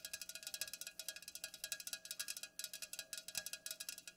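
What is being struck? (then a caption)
Aluminium drink can. Long nails tap quickly on both sides of an unopened, full Pepsi aluminum can standing upright. About 28 bright, high-pitched clicks come in a rapid, uneven patter, each dying almost instantly with a faint metallic tone around 1.6 kHz.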